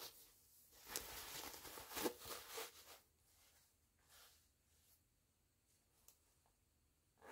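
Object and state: Canvas pouch zipper being opened and closed.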